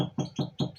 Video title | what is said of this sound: Avancement des travaux dans la salle d'élevage 2022 | quand je vais toquer là, vous allez voir que c'est creux